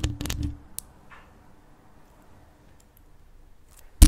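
Long acrylic nails scratch and tap the black mesh grille and the rhinestone-studded hollow body of a large grey metal desktop condenser USB microphone, using both hands. A cluster of close, low, thumping taps and scratches opens the clip, followed by a faint scratch, a long near-silent stretch, and one sharp, louder tap at the end.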